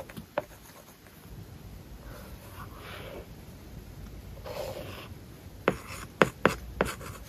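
A plastic stylus tip writes on a large, flat iPad glass screen covered with a matte plastic paper-like film. Soft, continuous scratching strokes build through the middle of the clip. Five short, sharp taps stand out, one near the start and four close together at the end.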